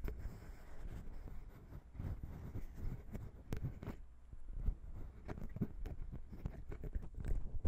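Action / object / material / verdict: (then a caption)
tap / metal microphone capsules on a plastic mount / metal / none. Long pink nails tap and scratch the small chrome metal grilles of the XY microphone capsules on a Zoom H6 recorder, which sit on a plastic mount. The result is a steady run of soft, dull, low-heavy taps with short scratchy rustles between them, each hit dying away almost at once.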